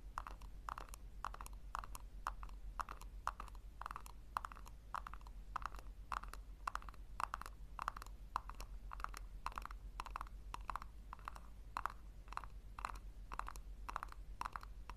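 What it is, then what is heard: Hollow plastic tub. Long nails tap and scratch the sides and rim of a small, hollow pink plastic tub held upside down. The result is a quick, steady run of short, hollow clicks centered near 1 kHz, with brief scratchy swipes in between. A low, constant hum sits underneath at a quiet overall level.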